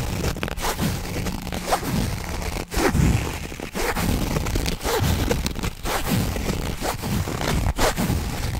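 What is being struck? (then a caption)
Nylon fabric zippered bag. A medium black nylon/polyester zippered bag, hollow and apparently empty, is held in both hands in front of the mic while fingertips scratch and rub the fabric and work the zipper. The result is a dense, fast stream of scratchy rustling and zipper rasps, heavy in low rumble, with brief sharp breaks between bursts.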